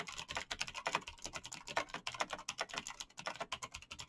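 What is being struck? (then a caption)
Plastic mechanical keyboard. Fingertips in fingerless knit gloves type fast on a black plastic mechanical gaming keyboard with clicky green switches, backlit keys and a hollow case. A rapid, uneven stream of sharp, bright clicks, each centred around 1 kHz and dying away almost instantly, with hardly any low end.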